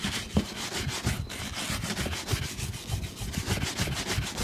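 A wooden-bristle shoe brush is stroked back and forth over a brown leather boot, making steady, rapid rubbing and brushing strokes. Each stroke carries a dull low thump under a bright, airy bristle hiss. The strokes run on continuously with little gap between them.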